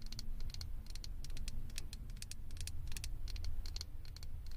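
A small hollow blue plastic Stitch head on a microphone is tapped and scratched with long acrylic nails. Quick, bright clicks and ticks come in uneven bursts over a steady low rumble, with no ring after each tap.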